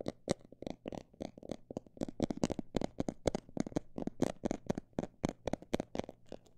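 A textured cosmetic bag is tapped in a rapid, uneven series of short, dry taps with a soft, crinkly texture. Each tap is muffled, centered in the low-mids, and dies away almost instantly, over a faint steady low hum.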